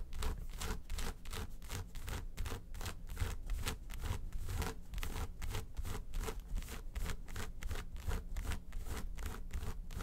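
Long white stiletto nails scratch and tap on the lid of a small, hollow, closed yellow textured faux-leather makeup case with a handle. The result is a steady run of quick, dry scratching strokes. Each stroke gives a soft, low hollow thump, with bright scraping on top.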